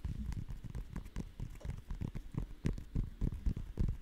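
A whole green custard apple (sugar apple), fist-sized and solid with knobbly segmented skin, is scratched and tapped with long nails close to the microphone. Rapid, irregular soft taps and scratchy rustles blend together, each tap a dull, low thump that dies away almost instantly.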